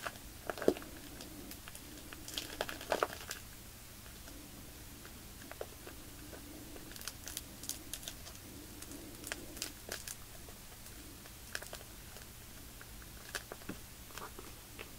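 Fingertips and nails tap and rub the plastic surface of a bag of white polyester-fiber fake snow lying on a tablecloth. The result is quiet, irregular crinkling and soft scattered taps, with bright rustle and a faint steady low hum underneath.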